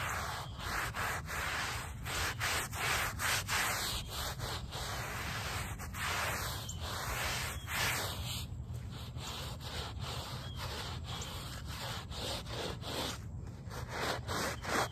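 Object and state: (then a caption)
Woven fabric rug backing being scrubbed. A small handheld brush with a brown back scrubs the back side of a small wet, soapy woven rug lying on pavement. Steady, dense bristle scrubbing rasps continuously with rapid back-and-forth strokes, with occasional wet squeaks and high bristle swishes.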